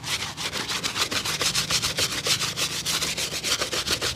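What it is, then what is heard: Leather shoe being brushed. A single dusty grey leather work shoe with a rubber sole, hollow and held up by its sole, is scrubbed with a small stiff brush in quick strokes by a cobbler. The sound is a steady, fairly regular run of dry, bright scratchy brush strokes, about three to four per second, with little low end.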